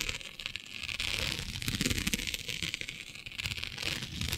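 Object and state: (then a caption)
Plastic mesh sheet being scratched. Long nails scratch across a flat black iridescent plastic mesh sheet with diamond openings. The result is a steady, dense, crackly scratching with a bright, hissy top and a faint low rumble underneath, rising and easing slightly in intensity throughout.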